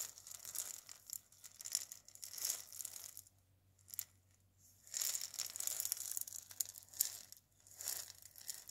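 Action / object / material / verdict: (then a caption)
scrape / dried gourd maraca with wooden handle / dried gourd / none. Fingernails scratch the wooden handle and the body of a single dried gourd maraca, making bright, dry, crinkly scraping bursts. After a near-silent pause broken by one faint tick, the scratching returns, and the maraca is moved and shaken at the end, adding a soft, high seed rattle.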